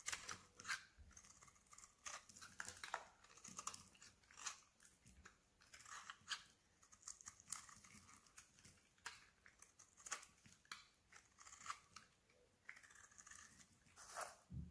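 A palm-sized solid white bar of soap is held in the hand and shaved with a metal blade, sending curls and flakes of soap falling off. Quiet, bright scraping and crisp crunching strokes repeat steadily throughout, each short and dry with little low end.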